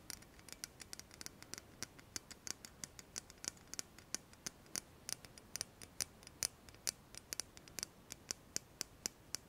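Long nails tap and click along a slim, shiny metal pen-like tube about 12 cm long, like a pen or lipstick case, held horizontally in both hands. About 47 quick, bright, dry clicks come in an irregular stream over a faint hiss, each one stopping almost instantly with no ring.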